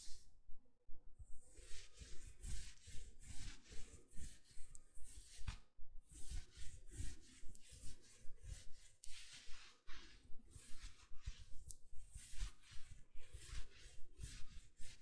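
A dark green, soft, fuzzy chenille knit sweater is being worn while fingertips and nails scratch and rub the fabric on the sleeve and shoulder. The result is a steady, rhythmic series of soft, bright scratching strokes, about one every second, over a low rumble.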